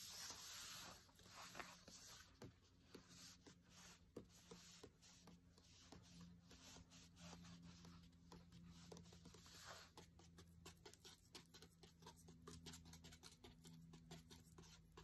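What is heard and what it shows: The tip of a long, thin dried stem taps and scratches quickly across the white page of an open cookbook. The result is a quiet, continuous stream of dry, papery scratching broken by rapid, light tapping clicks that stop short.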